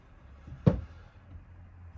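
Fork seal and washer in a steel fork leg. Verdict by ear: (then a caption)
Seated. A fork seal with its washer is knocked down into a steel fork leg of an Aprilia RS4 125. One short, dull, low-pitched knock sounds with very little ring, and another begins as the clip ends. The changed sound shows the seal is seated down properly and the washer no longer rattles.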